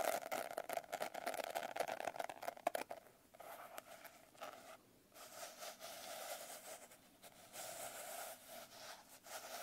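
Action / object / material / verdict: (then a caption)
scrape / glitter-covered hardcover notebook / glitter, cardboard / none. Long nails and fingertips scratch and tap the rough, coarse blue glitter cover of a closed hardcover notebook held on a lap. For the first three seconds there is a dense, gritty flurry of quick taps and scrapes with a faint mid-pitched ring. It then settles into quieter, softer, hissy scratching across the glitter.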